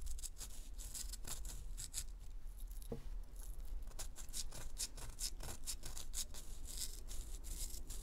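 Long acrylic nails scratch and tap the dry, powdery surface of a round, solid, gold-dusted pressed powder bath bomb about the size of a fist, held in both hands on a paper towel. Rapid bright, gritty scraping strokes and short crisp taps follow one another almost continuously over a steady low hum, with one sharper tap standing out near the middle.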